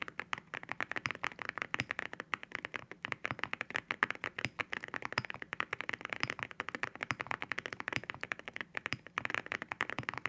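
Fingertips type continuously on a white 65% mechanical keyboard with glossy ceramic keycaps. The result is a rapid, steady stream of short, crisp clacks with a bright, glassy tone centered around 1.7 kHz, each tap dying away almost instantly with very little low end.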